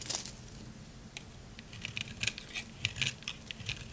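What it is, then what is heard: Dry soap bar being carved. A utility knife blade scrapes and carves shavings from a solid lavender dry soap bar. Short, crisp, bright crunching and crackling bursts come in an irregular series over a faint low hum, each dying away almost at once.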